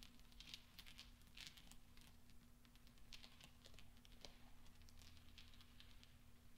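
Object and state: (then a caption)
Steel pachinko balls clinking. Fingertips roll and push small, solid steel pachinko balls across black velvet, making them clink. Soft, scattered, bright metallic ticks and clicks with very short ring come in quick irregular bursts over a steady low hum and faint background noise.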